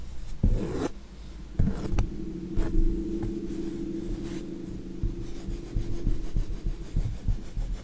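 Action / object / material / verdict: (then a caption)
scrape / painted stretched canvas / canvas / none. Fingertips and nails scratch the painted surface of a flat acrylic landscape canvas held in the hand. Dull, low rubbing and rasping strokes alternate with a few sharper scrapes, over a faint steady low tone.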